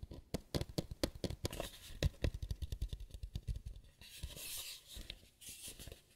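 A white lampshade is tapped quickly with fingers, making a rapid run of short, dull, low thumps that die out almost at once. After about four seconds the tapping gives way to softer, brighter scratching and brushing across the shade, with a few taps mixed in. It is quiet and close, with no talking.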